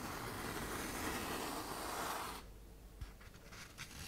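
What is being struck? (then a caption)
Sheet of fine sandpaper on thin paper backing. A hand-sized sheet of tan K120 waterproof sandpaper with a thin paper backing is bent and folded in the hands while long nails scrape across its surface. A steady, broad gritty scraping rasp runs for about two and a half seconds and then drops off. A few quieter crinkles and scratches follow.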